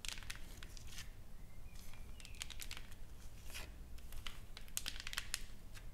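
Long nails tap and scratch across a solid, flat wooden plaque with engraved text and painted flowers. Quick, irregular bright clicks and dry scraping strokes sit over a steady low hum.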